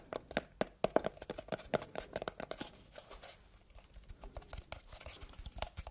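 Long red nails scratch and tap a small, closed red textured cardboard gift box with a ribbon bow. Rapid, dry taps with a hollow tone around 640 Hz mix with crinkly scratching, loudest in the first half and then softer and more scraping toward the end.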